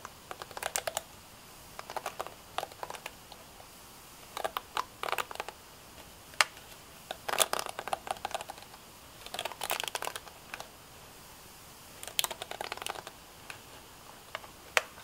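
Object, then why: Plastic hairbrush back. A purple plastic paddle-style Sunsilk hairbrush with a hollow-looking back shell is held in one hand while long dark-painted nails tap and scratch its back. Quick, dry, clicky taps and scratches come in short bursts with pauses between, each bright and clipped with almost no ring or low end.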